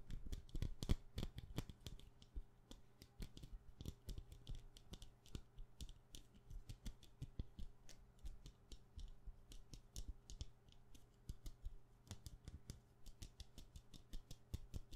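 A solid white wax pillar candle is held close to the microphone and tapped quickly with long painted nails. The result is a fast, continuous stream of short, dry clicking taps with almost no ring, over a quiet, steady low hum.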